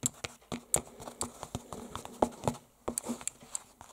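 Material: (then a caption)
Canvas. Fingertips, with rings worn, tap and scratch the textured fabric of an unfolded red canvas book cover painted with a dragon, lying flat. Short, dry taps come in a quick, uneven series, some carrying bright clicky highs, with soft scratchy rustling between them.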